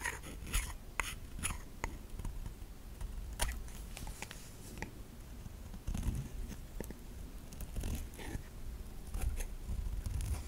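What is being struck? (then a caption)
Bar of soap scraped with a metal knife. A metal kitchen knife scrapes and shaves thin curls off the surface of a solid white bar of soap held in the hand. Short, dry scraping strokes come in quick irregular bursts, with bright crisp edges over a soft, low, muffled rumble. Each stroke stops almost at once with no ring.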